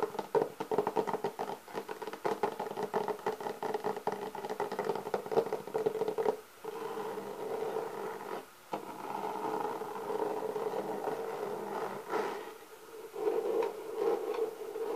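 Long painted nails tap and scratch across the textured top of a closed, medium-sized, hollow black hard-shell clarinet case with leatherette covering. The result is a dense, steady stream of quick scratchy taps with a hollow midrange tone around 445 Hz, broken by brief pauses near 6.5 and 8.6 seconds.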